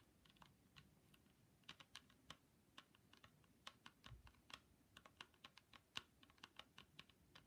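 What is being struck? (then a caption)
Plastic ski goggles with mirrored lens. Long pointy pink acrylic nails on gloved hands tap and click on a hand-sized, hollow pair of ski goggles with a hard plastic mirrored lens and a grey plastic frame. The result is a quiet, irregular run of sharp, dry, bright clicks that stop almost instantly, centred around 2.8 kHz with little low end.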